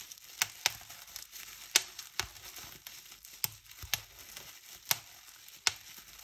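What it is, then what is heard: Plastic bubble wrap being popped. Fingertips pinch and squeeze the air-filled bubbles of a large clear polyethylene bubble wrap sheet. Sharp, bright pops burst out at irregular intervals over a steady crinkling and rustling of the plastic. Each pop dies away almost instantly, and the sound is almost all high with very little low end.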